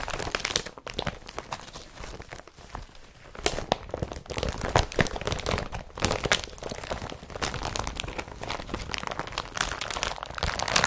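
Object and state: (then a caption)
Woven plastic carrier bag being crumpled. Hands scrunch and crumple an empty blue woven polypropylene IKEA BRATTBY carrier bag. Dense crinkling and crunching rustles with many sharp, bright crackles run continuously throughout.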